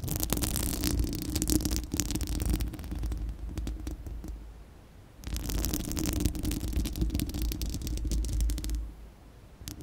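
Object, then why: Steel-mesh microphone grille. Long acrylic nails of both hands scratch a bare, round, hollow steel-mesh microphone grille dome. The result is dense, rapid, uneven raspy scratching over a heavy low rumble, with a steady hum near 300 Hz and bright crackly streaks. The scratching runs in two loud stretches, each easing into a quieter lull.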